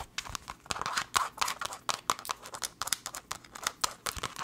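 Long nails tap and scratch fast on a small, hollow black leather glasses case, close up. Quick, dry clicks and scratchy rustles come in a busy, irregular stream, bright and crisp with almost no low end. Each tap dies away almost instantly.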